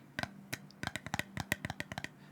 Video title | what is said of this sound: ASMR - Rambling about nothing in particular while tapping and scratching things | the lid is more of a hollow sound